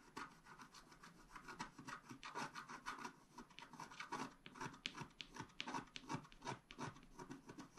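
A wooden stylus scratches a flat scratch art paper card lying on a table, working near the top edge with fast, repeated strokes. The result is a quiet, dry, raspy scratching in short, irregular bursts with a bright, papery hiss, and each stroke stops almost at once with no ring.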